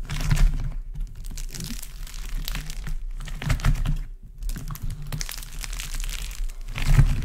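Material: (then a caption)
Modelling clay. Both hands press, squeeze and crush a large heap of multicoloured modelling clay in warm and cool colours, with fingertips and palms working its dried, cracked crust. The solid, crumbly clay gives off dense, irregular bursts of bright crackling and crunching over soft low thumps. The bursts pause briefly about three times before picking up again.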